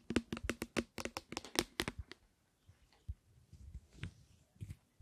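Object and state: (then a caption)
Plastic spray bottle. Long fingernails tap and click on a medium-size, hollow clear plastic spray bottle with a blue plastic cap, partly filled with clear liquid, held in front of a stereo microphone. A quick run of crisp, short taps with a hollow knock fills the first two seconds. Softer, scattered clicks and light rubbing follow, with a few sharper taps near the end.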